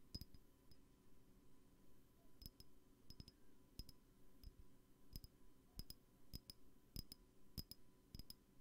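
Fingers tap on a glass perfume bottle, making quiet, short clinking chinks at an irregular pace, some in quick pairs, each with a bright glassy ping that stops almost at once. A faint low hum sits underneath.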